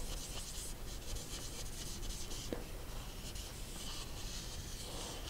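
A black dry-erase marker tip is dragged and rubbed over a small handheld white dry-erase board with a plastic frame and a thin, hollow-backed glossy surface, held in one hand, filling in a dark circular scribble. Continuous squeaky rubbing and scratchy writing sounds carry a faint bright hiss above steady low rumble, with a brief squeak near the middle.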